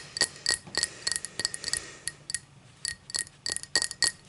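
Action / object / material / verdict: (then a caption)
tap / cut crystal drinking glass / crystal glass / none. Long matte dark nails tap and scratch the sides of an empty, hollow, clear cut-crystal tall drinking glass, using both hands, as it stands upright on a striped towel. Quick, irregular clinks come with a faint glassy ring around 1.9 kHz and bright high overtones. Each clink dies away almost instantly, with soft scratchy noise between the taps.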